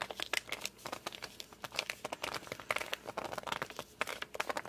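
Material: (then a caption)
Laminated board. Thumbs and fingertips grip and rub the glossy red cover of a large, solid "Amelia Bedelia" hardcover picture book, producing a rapid series of short, bright squeaks and crinkly rubbing sounds. The squeaks have almost no low end and stop quickly, with quiet gaps between the bursts.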